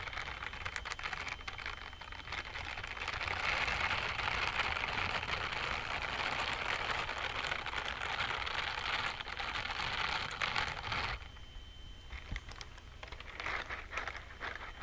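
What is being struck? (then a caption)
Silicone scrubbing gloves with bristle palms. Worn blue-green silicone scrubbing gloves with bristle palms are rubbed together, the bristle pads brushing against each other and the gloved fingers close to the mic. The result is a dense, bright, scratchy rustle that swells and stays loud through the middle, then drops to softer, sparser scrapes near the end over a faint low hum.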